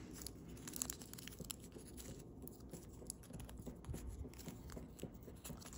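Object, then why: Thin foil origami paper. Thin holographic blue foil origami paper is folded into a narrow crane base, creased and rubbed between fingertips and thumbnails, while finished cranes lie still nearby. Quiet, continuous crinkling and scratchy rustling is broken by brief sharp crackles that flash up into the high range over a soft low rumble.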